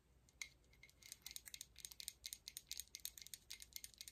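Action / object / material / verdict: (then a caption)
tap / metal medallion pendant / metal / none. A large, solid gold-tone metal coin-style medallion pendant on a chain is held up and tapped and scratched on its face and edge with long acrylic nails. The result is a quiet, rapid series of bright, sharp clicks and ticks that die away almost instantly, with light scratchy rasps between them.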